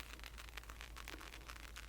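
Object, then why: Handmade ceramic rattle ball. A round, multi-colored ceramic spirit ball rattle, handmade in a ceramics class, is gently shaken. It gives a quiet, continuous run of soft, bright rattling clicks over a steady low hum.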